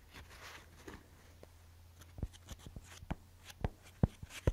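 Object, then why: Paper swatch fan deck. A paper paint swatch fan deck is held up and split open, its paper strips spread and handled with fingers and nails. Quiet, soft papery rustling gives way to about ten sharp, dry clicks and taps in the second half, over a faint steady low hum.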